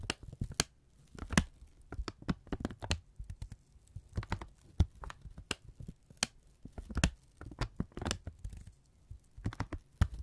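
A thin brown kraft paper strip is held in both hands and folded and crumpled with the fingertips. It gives a rapid series of dry, close crinkles and sharp crackles with a low, soft body and bright flicks, each snap dying away almost at once.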